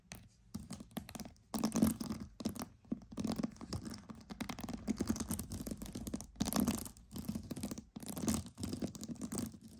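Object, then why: String of pearls. Pearls are tapped and scratched in a close, dense stream of small clicks and rustling scrapes. A steady low tone sits near 220 Hz, with bright, crackly edges.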